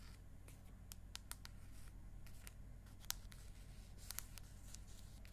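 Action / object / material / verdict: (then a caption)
tap / aluminium tablet back / aluminium / none. Long acrylic nails scratch and tap across the aluminium back of an iPad mini held in landscape. Quiet, bright, dry clicks and scrapes are scattered over a steady low hum.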